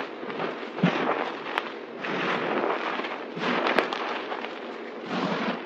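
A pile of white, crushed, dry soap powder and chunks on a table is pressed and scrunched by hands using palms and fingers. The result is a dense, crackly crunching that comes in waves, broken by a few brief sharp snaps. The sound sits mostly in the mids with little deep low end.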